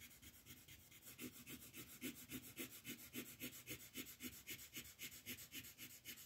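A green wooden colored pencil shades a thin paper coloring page lying flat on a table, rubbing back and forth while the other hand holds the page still. It makes a quiet, dry, bright scratchy rasp in a steady rhythm of nearly four strokes per second. Each stroke gives a soft papery swish with a faint low-mid body.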